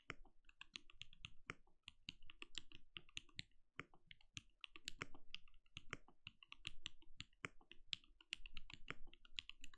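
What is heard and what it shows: Fingertips of both hands type rapidly on a compact backlit mechanical keyboard with plastic keycaps and a translucent glowing case. A steady stream of quick, dry key taps pairs a dull low thud with a bright click, each stopping almost instantly. The typing is quiet and closely heard, with brief pauses between bursts.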